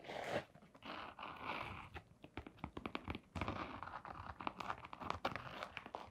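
A blue glitter canvas sneaker with a rubber sole is turned in the hands while long nails scratch across the sole and the side. The result is quiet, dry scratching and crunchy rasps in rapid short strokes, with soft rustling of the fabric in between.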